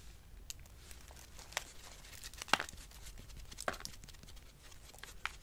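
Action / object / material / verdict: scrape / soap shavings / soap / none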